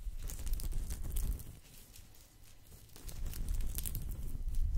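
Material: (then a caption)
Straw. A round, flat, thin woven straw/rattan coaster, held close to the mic, is scratched with fingertips and nails. Dry, crackly rustling and scraping come and go in bursts, with a soft low rumble beneath. The activity eases off in the middle before picking up again toward the end.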